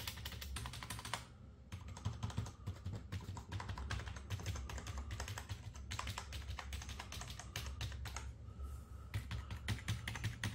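A gloved fingertip taps individual keys across a full-size black and white Ant Esports MK1400 Pro backlit plastic membrane gaming keyboard on a wooden desk, including the spacebar and number keys. A steady stream of quick, short clicks and taps with a low, thuddy body and bright clicky tops continues throughout with only brief pauses.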